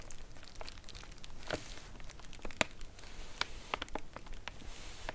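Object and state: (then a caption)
Padded paper mailer envelope. Long acrylic nails tap and scratch across a flat, white, medium-size padded paper mailer (featherpost) lying on a cloth surface. Sharp, dry taps are heard between soft, scratchy crinkles, with bright clicks that end instantly and no ringing.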